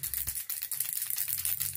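A frosted glass setting spray bottle with little mixing balls inside is shaken thoroughly so it is mixed before use. The balls rattle in quick, bright clicks over a steady low hum, with many short taps running together and no clear pause between them.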